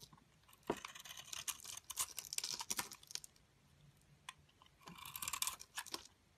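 A metal blade scrapes and shaves a solid square soap bar, purple glitter coating over cream soap, held in a hand with long dark nails, cutting it into powdery flakes. Bursts of bright, dry crunching and crisp scraping come in two main stretches separated by a quieter pause, with short sharp clicks between them.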